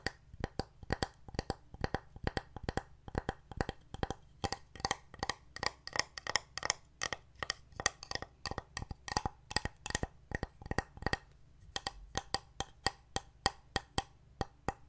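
Fingernails tap a painted solid wooden heart plaque and its wooden buttons, held tilted over a table. Rapid, steady, short dry knocks with almost no ring carry a woody tone near 790 Hz and bright clicky edges, over a faint low background hum.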